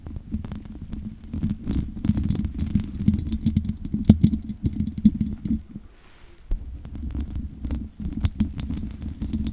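Long nails scratch and tap on the hollow metal mesh grille of a large condenser microphone, making a dense, close-up crackle of scraping and clicking over a low, throbbing hum centered around 200 Hz. The scratching pauses briefly near the middle, leaving only faint noise, before resuming with sharp, bright taps.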